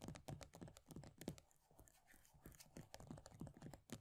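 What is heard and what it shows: Long nails rapidly tap and scratch the base of an upside-down plastic body butter tub, its pale green plastic base carrying a paper label. Quick, irregular dull clicks with a low body and very short decay alternate with a quieter, softer scratching stretch in the middle before the tapping picks up again.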